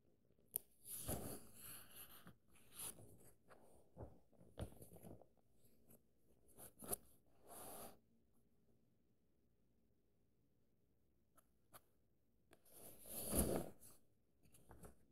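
Flat fingers rub and trace across the paper pages of an open paperback book, with light fingertip taps in between. Soft, dry papery swishes and brushing sounds come in short bursts, with brief crisp ticks. A quiet stretch near the middle is followed by a louder rustle toward the end.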